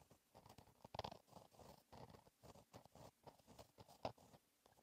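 A fine-tipped gel pen held in the fingertips writes cursive letters across a flat black lined paper notebook page. The clip is a quiet run of short, dry scratching strokes centered in the midrange, with brief pauses between them and a few slightly louder strokes.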